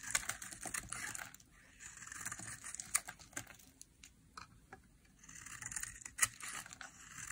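A small, solid, dry green soap bar held in the hand is carved into curls with a metal knife blade, and long nails are visible. Bursts of bright, crisp shaving scrapes and small clicks come in waves, separated by quieter stretches, with very little low end.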